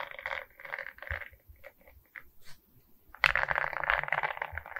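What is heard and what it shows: Long nails scratch and tap across a larger Mickey diamond painting of resin rhinestone beads on a frame, making bright, gritty scraping bursts with some softer clicks. Around three seconds in, the scratching turns louder and denser, becoming a rapid, continuous rasp.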